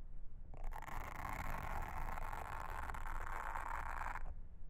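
A pink mascara spoolie brush, held in a hand with long red nails, brushes and scratches across a round, flat, solid blue silicone trivet mat with a honeycomb texture lying on a table. After a quiet half-second, a steady, dense scratchy rasp starts, strongest in the mid range with a bright hiss above it, over a faint low rumble. It runs continuously for nearly four seconds before stopping abruptly.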